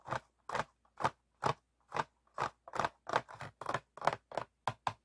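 Fingertips and nails tap and scratch an empty, hollow, clear ribbed PET water bottle with a blue cap as it is held on a table. About fifteen short, dry, crinkly scrapes and clicks come at an irregular pace of roughly one per second. Each one is bright and papery, centered in the midrange, with almost no low end, and stops abruptly with no ring.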